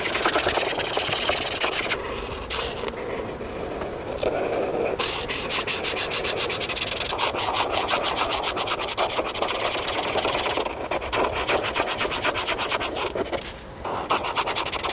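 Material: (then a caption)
Paper. A hand strokes and rubs a felt-tip marker back and forth over the thin paper of a coloring book page showing a sunscreen tube. The sound is a fast, scratchy, bright rubbing hiss that keeps a steady pace, softening briefly early on and again near the end before resuming.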